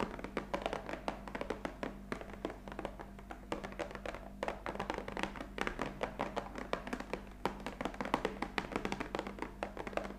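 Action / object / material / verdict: tap / cardboard box of coffee capsules / cardboard / none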